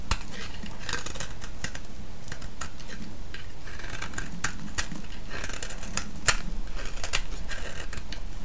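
A solid orange soap bar held in the hand is scraped and shaved with a metal blade. Many short, crisp scraping and cracking strokes come in irregular succession over a steady low rumble, and a few sharper snaps stand out near the end.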